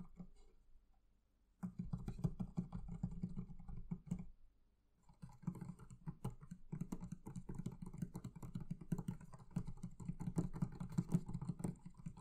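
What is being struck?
Leather covering of a wooden barrel chest.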